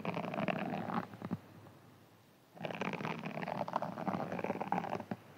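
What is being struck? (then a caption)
Foam sponge. A hand-sized green foam sponge is scratched with fingertips and rubbed with the flat hand. Two bursts of dense, crackly scratching and rustling are heard, with a short quiet pause between them, the second burst longer than the first.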